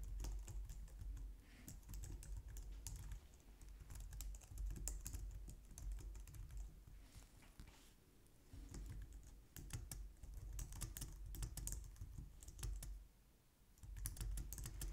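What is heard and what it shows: Fingertips with long nails type on a white low-profile plastic keyboard resting on a glitter mat, producing a steady stream of quick, bright clicks and taps. The typing continues over a constant low hum, easing off briefly around the middle and again near the end before picking back up.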